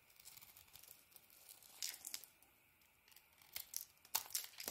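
A solid green and white bar of soap held in the hand is carved and scraped with a metal blade, sending flakes falling. Quiet, bright, crisp shaving and scraping strokes rasp along, with a brief lull in the middle before sharper, louder cuts near the end.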